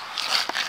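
Taps on a roof's waterproofing layer during a leak investigation give short, dry, bright knocks with almost no low end that die away quickly. The surface sounds hollow almost along its whole length, suggesting the waterproofing is not bonded there.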